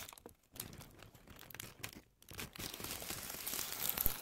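A thin white paper tissue sheet, held flat in both hands, is crumpled and handled with long manicured nails and fingertips. Soft, dense crinkling and crackling comes in bursts, broken by two brief near-silent pauses. The rustling then builds steadily louder and brighter toward the end.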